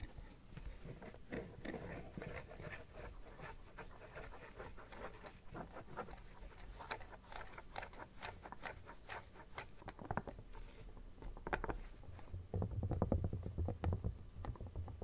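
Fingernails scratch along the edge of an empty red silicone phone case, then across its inner lining as the case lies open. The quiet, dry scratching comes as a fast, uneven run of short strokes with a soft low rumble beneath, and it grows a little louder and fuller near the end.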